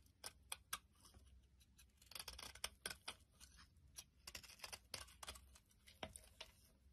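A metal blade scrapes the surface of a solid pink bar of soap held in the palm, sending flakes falling. Quiet, crisp, bright scraping strokes and short ticking clicks repeat in quick succession, with a faint low hum underneath.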